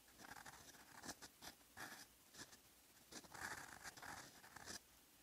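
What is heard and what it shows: A steel fountain pen nib writing in blue ink on a lined paper notebook page gives a quiet, dry scratching. Short bright strokes rise and fall in quick bursts over a faint background hiss, with energy centered in the upper mids and high end and almost no low end.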